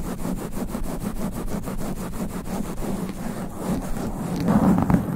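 Long black nails scratch fast across a sponge foam microphone windscreen, one hand at a time. A rapid, steady run of rough, rumbling rubbing strokes with a low, muffled body swells louder and denser toward the end.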